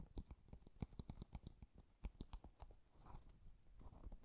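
An empty Japanese paper box, a small hollow cardboard box covered in floral washi paper, is held in both hands and tapped and scratched with fingertips and nails. A quick series of soft, dry, low taps with short clicky tops comes first, then quieter scratching and rustling. Each tap dies away almost at once.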